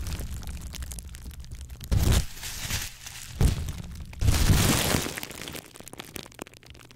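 A hand-sized ball of clear plastic bubble wrap with hollow air bubbles is squeezed and popped with the fingertips. Steady crinkling and crackling is broken by louder bursts of pops near 2 seconds, a sharp pop around 3.4 seconds, and a longer run of crackling pops from about 4 to 5 seconds. It then thins to faint, scattered crackles.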